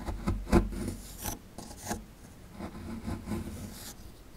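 A small, solid plaster excavation block held in the hand is scraped with a metal pick tool. The result is an uneven run of short, dry rasping strokes with a low, gritty body and a few brighter scratches.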